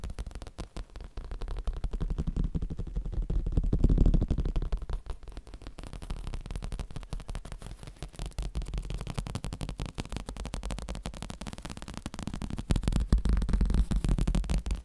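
A padded, rounded cushion with a black grained leather-like cover is tapped and scratched with the fingertips and nails. The result is a dense, uneven stream of soft, dull low thumps with almost no high-frequency content, swelling louder around the fourth second and again near the end.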